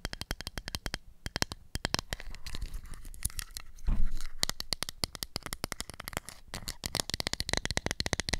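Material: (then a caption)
Plastic. A small round pink and black hollow plastic toy makeup compact for kids is tapped and scratched with long acrylic nails on its lid and sides. Rapid, sharp clicking taps with bright edges come in quick runs, and softer scratchy scraping fills the gaps. Around the middle there is a brief, louder, rougher scrape with a low thud.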